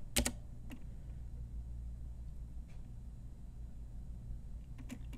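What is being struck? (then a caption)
Plastic mechanical keyboard keys. An Ajazz full-size pink mechanical keyboard, with round plastic typewriter-style keycaps on a hollow plastic case, is tapped with long nails and fingertips. Sparse, sharp, bright plastic clicks ring briefly over a steady low hum. A few are close together at the start and a few more come near the end.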